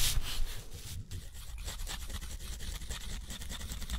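A steel nib scratches dense looping scribbles across a thick, rough, white textured watercolor paper sheet held in the fingertips. The result is a continuous, dry, raspy scratching with bright, streaky strokes over a low, soft rumble, steady in level throughout.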